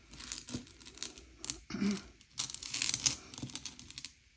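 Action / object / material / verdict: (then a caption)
scrape / small sugar-shelled chocolate candies on a plate / sugar shell / none. Fingertips slide and push a pile of small, hard, sugar-shelled M&M's candy-coated chocolates around a grey plate to sort them by colour. The candies make bright, dry clicks and skittering rattles as they tumble against each other and scrape across the plate, in uneven bursts with short quiet gaps.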